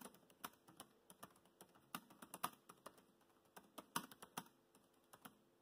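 Fingertips type fast on a laptop keyboard with black plastic keys, giving about twenty quick, dry clicks and taps at an uneven pace. Each keystroke is short and sharp with a bright edge and almost no ring, and the overall level stays quiet.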